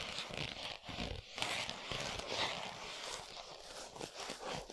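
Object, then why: Thin cardboard box with a chocolate bar inside. A flat 100 g Lindt milk chocolate cardboard box, with the bar still inside, lies on a towel and is tapped and scratched with long nails. The result is a dense, bright, dry scratching and crinkly rustle with soft muffled taps mixed in, holding a fairly steady level throughout.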